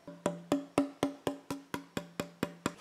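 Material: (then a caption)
Spruce. The spruce top plate of an old violin, worked down and not yet fitted with its new bass bar, is tapped eleven times in a steady rhythm. Each tap gives a short, woody knock with a clear ringing tone around 280 Hz that fades quickly. The plate has a good tap tone.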